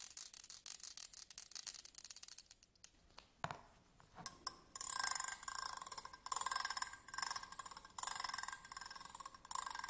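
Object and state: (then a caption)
Metal tweezers being scratched. A thin pointed stick scratches the ridged grips of slim metal tweezers, first held upright and then laid flat on a table. Quick, fine ticking scrapes with a bright, thin edge give way to a near-silent gap with a few isolated clicks. Louder bursts of raspy scratching then follow, carrying a faint high metallic ring.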